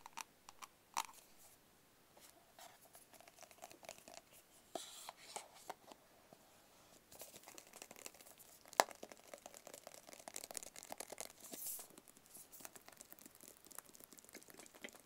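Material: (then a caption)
Cardboard. A small, hollow, white rigid cardboard product box is tapped and scratched with fingertips. Quiet, dry, short taps mix with scratchy, papery rustling and crinkling, with a few sharper, brighter clicks that stop instantly without ringing.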